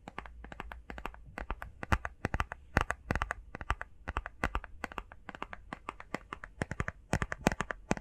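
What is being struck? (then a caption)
Small printed cardboard box. Fingernails tap fast on a small, hollow, rectangular printed cardboard face mask box, making a rapid, uneven stream of sharp, dry clicks with a little hollow body. Each tap dies away almost at once over a faint, steady low hum.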